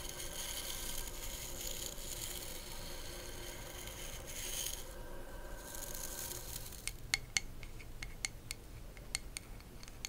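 Long acrylic nails scratch the smooth, solid wooden back of a hand-sized hairbrush with natural bristles, held close to the mic, making a steady, dry, bright rasp for about seven seconds. The scratching then gives way to a series of sharp, crisp taps on the wood, each with a short, clicky attack around 2.2 kHz and almost no ring.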